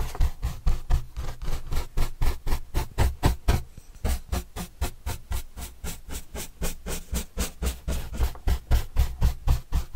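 A red-handled paintbrush is brushed rapidly across the surface of a large, flat, white corrugated cardboard pizza box with green edges, held upright and hollow. It makes a steady run of about 37 quick, soft strokes, roughly four per second, each a dull low thump with a light swishing scrape. The strokes dip briefly quieter after the first few seconds before building back up.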